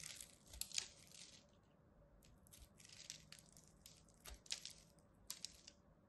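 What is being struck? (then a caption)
Bar soap cut with a small blade. A small craft blade scores a grid into a palm-sized, solid rectangular pink bar of soap held in one hand, then chips off small cubes. The result is a run of dry, bright scraping and crunching onsets. Most are soft, and a few sharper cuts stand out near the start and end.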